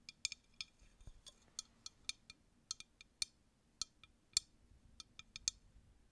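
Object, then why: Empty glass drinking tumbler. A clear, empty, hollow drinking glass tumbler is tapped and clinked with long nails, giving about 18 sharp, bright clicks at an irregular pace. Each tap is very short and dry, with almost no ring and nothing in the low end beneath it.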